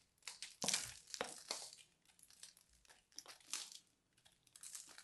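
A small knife blade scrapes and carves the crusty surface of a fist-sized, solid, crumbly purple-and-white dried soap ball held in hands with long dark nails. Bright, dry crinkling and crunching scrapes come in uneven bursts, with almost no low end.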